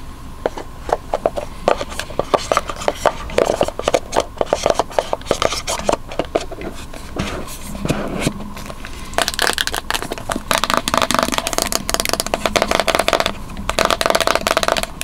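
Long manicured nails scratch and rub along the faces and edges of a small, hollow, white printed cardboard Apple Magic Mouse retail box held in both hands. The result is a dense stream of dry, crackling scrapes and quick ticking clicks with a faint papery midrange ring. The scratching grows busier and brighter in the second half.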